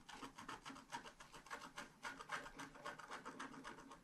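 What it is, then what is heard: Scratch art paper being scratched. A wooden stylus scratches densely in short, quick strokes across a flat sheet of scratch art paper. The result is a soft, steady, bright rasping with a fast, uneven rhythm of strokes, each ending quickly.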